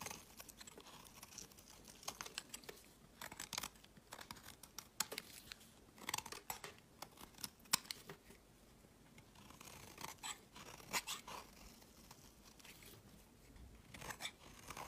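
A snap-off utility blade shaves curls from the edge of a solid amber translucent glycerin soap bar held in hand. Quiet, bright, crisp scraping and crackling strokes come in quick, uneven bursts, each dying away almost instantly, with very little low end.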